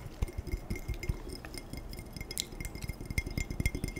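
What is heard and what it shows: A glass tumbler is tapped quickly and aggressively, producing a rapid, uneven run of short clinks and chinks. Each tap carries a low thump and a faint bright glassy ring that dies away almost at once.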